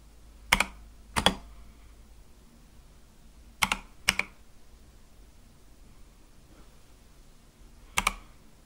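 Five sparse fingertip keypresses on a compact Akko mechanical keyboard with white and light-blue plastic keycaps on a dark case. Each press gives a short, bright, sharp plastic clack with almost no ring, spaced out over a quiet background.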